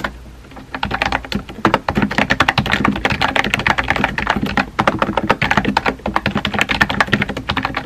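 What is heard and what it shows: Fingertips with painted nails rapidly tap the round white-and-pink typewriter-style keycaps of a compact, hollow-bodied pink plastic mechanical keyboard on a desk. The result is a dense, continuous stream of short, crisp clicks with a clacky upper-mid tone and brief hollow thocks underneath, each keystroke dying away almost instantly.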